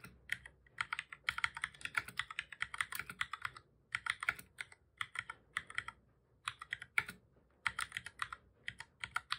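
Fingertips of both hands type on the keys of a black full-size plastic computer keyboard, pressing keys repeatedly. Quick, bright plastic clicks and taps come in fast bursts with short pauses between, each click dying away almost instantly with very little low end.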